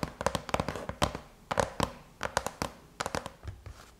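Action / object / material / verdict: tap / aluminum laptop lid / aluminum / none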